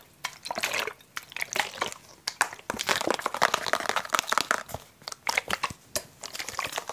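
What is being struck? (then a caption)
Thin plastic bottle. Fingertips and nails tap, scratch and squeeze a hollow, blue translucent plastic water bottle with a cap. The result is a rapid, uneven run of sharp clicks and crinkling crackles. The sound is bright and dry, with almost no low end.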